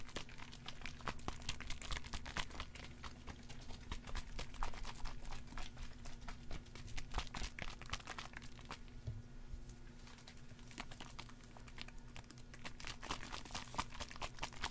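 A small red plastic spray bottle with a white cap is held in one hand and shaken. It makes a dense, fairly irregular stream of quick crinkly clicks and rattles over a steady low hum. The sound stays at a constant level, dipping briefly around the middle.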